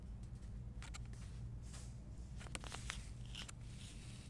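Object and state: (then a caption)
Plastic bath soak pouch being crinkled. A medium flexible plastic stand-up pouch of avocado oil bath soak, hollow and filled with salt crystals, is held in both hands and crinkled and rubbed with long painted nails and fingertips. Short bright crinkling and rustling bursts come and go over a steady low hum. The overall level stays quiet throughout.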